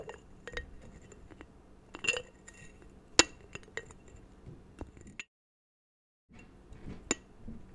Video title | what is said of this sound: ASMR Soft-Spoken Geography Facts + Tapping | tapping on this strange little ceramic jar